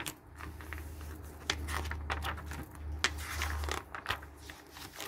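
Fingers turn the thin pages of a glossy paper garden catalog resting on a wooden table, one after another. Each turn gives a crisp, bright crackle and swish over a low steady hum.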